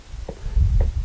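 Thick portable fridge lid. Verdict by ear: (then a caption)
Solid. Two knocks on the thick lid of a Dometic portable fridge, which has metal hinges, give dull, low thuds with almost no ring. The lid sounds full and solid, not hollow.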